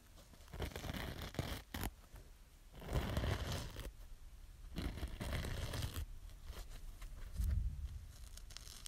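Long nails scratch the green scouring edge and the foam of a small yellow kitchen sponge held in the fingers. The result is rough, rasping scratches in uneven bursts, with a low, dull rumble from the handling beneath them.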